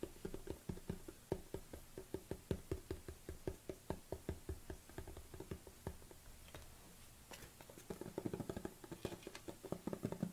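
A large black plastic protein tub is tilted by hand while fingernails tap on its lid and upper body. The taps are quick, dull, hollow clicks with a low thump and almost no ring, coming in a steady rhythm. After a brief lull they pick up into a faster, denser flurry.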